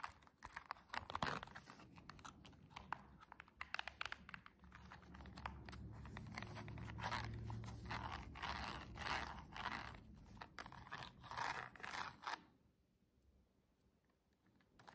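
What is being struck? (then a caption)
Cardboard box with plastic window. A silver embossed cardboard box with a clear plastic window is scratched and tapped across its surface by long jeweled nails. Irregular crisp taps and crackly, crunchy scratches run steadily with a low rumbling undertone, then stop at about 12 seconds, leaving near silence.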